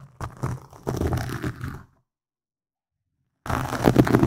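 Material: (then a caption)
Foam. Fingertips and nails scratch and tap a black foam windscreen on a microphone, producing close, dense, crackly rubbing with a heavy low rumble and soft thumps. The scratching comes in bursts for about two seconds, falls completely silent, then returns louder and fuller near the end.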